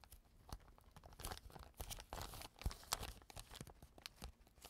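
A clear plastic zip bag lies on a table while its zipper is pulled open and pressed shut with fingertips. The result is a quiet, irregular run of crinkling, crunching and tearing-like rustles. Short clicks and crackles reach up into bright highs over a low thump.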